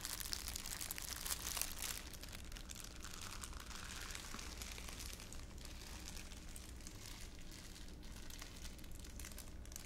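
A thin, crumpled clear plastic wrapper held in one palm is crumpled and crinkled by the other hand's fingers right next to the mic. Dense, bright crackling and crinkling runs continuously, a little louder in the first two seconds, over a steady low rumble.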